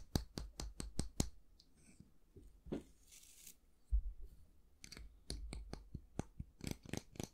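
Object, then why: Wooden brush handle. Fingertips and nails tap and scratch along the long, flat handle of a solid, light wooden brush with a natural-bristle head. A quick run of crisp, dry taps opens the clip, followed by a soft, hissy scratch. A second cluster of sharp clicks with low, hollow knocks closes it out.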